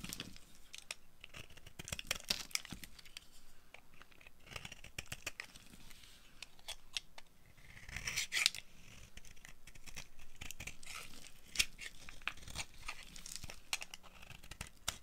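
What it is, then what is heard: Dry soap bar being carved. A dry, solid oval purple bar of soap with embossed text, held in the palm, is carved with the blade of a yellow-handled utility knife. Quick, dry, bright scraping and shaving strokes crackle in irregular bursts, with a louder flurry of scraping about halfway through.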